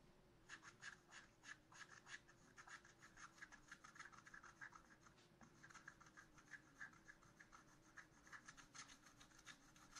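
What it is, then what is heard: Stylus scratching scratch art paper. A wooden stylus scratches back and forth across a black-coated scratch art paper sheet in a spiral notebook, filling in a pot. The result is a quiet, steady run of quick, dry rasping strokes with a bright papery edge, over a faint low hum.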